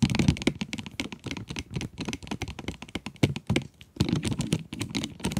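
Long acrylic nails tap rapidly on the plastic window of a full cardboard pencil box. The dense, dry clicks have a low, hollow body and brief bright edges, dying away almost instantly. They run steadily with a short pause just before the four-second mark.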